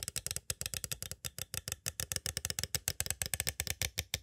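Two green plastic stick tools tap quickly on the edges of a small, hollow, clear plastic cassette tape case. About 31 sharp, dry clicks sound in a rapid, uneven rhythm. Each is bright and clattery with a faint low, hollow knock underneath, and stops almost at once with no ring.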